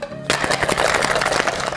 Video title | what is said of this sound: Why This Cocktail Shaker Costs $68 | it sounds a little different than regular shaker